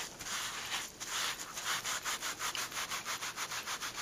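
A white cloth held in blue latex-gloved fingers rubs and wipes a thin, soft, flat green suede/leather glove lying on a purple towel. The sound is a soft, bright, hissing brush that starts as a continuous rub and settles into a steady rhythm of quick, evenly spaced strokes, with almost no low end.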